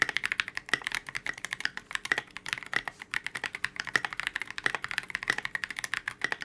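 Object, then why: Polycarbonate-case mechanical keyboard. Both hands type continuously with their fingertips on a KBD67 Lite, a 65% mechanical keyboard with a transparent polycarbonate case, C³ x TKC Kiwi switches and white and gray Oblotzky SA Oblivion V2 keycaps. The keyboard rests on a desk mat. A quick, uneven stream of short, crisp keystrokes clacks with a bright tone centered near 1.9 kHz, and each press dies away almost at once with hardly any low end.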